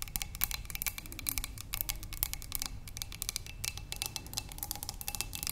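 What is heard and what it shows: Long nails on both hands tap quickly on a narrow, clear glass cylinder vase holding tulips. The sound is a dense, irregular stream of sharp, bright clicks with almost no ring, over a faint low rumble.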